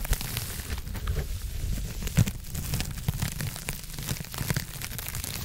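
A hand-sized blue porous foam scrub sponge is scratched and squeezed with long nails close to the mic. It gives a dense run of soft crinkly, crackling scratches over a low, muffled rumble, with a brief louder squeeze partway through.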